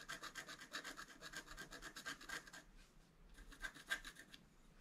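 A wooden stylus scratches the coating of a flat black-coated scratch art card, working around drawn flowers and antlers. Quick, dry rasping strokes repeat at a rapid, uneven pace with a bright, papery hiss. The strokes briefly soften near the middle, then resume.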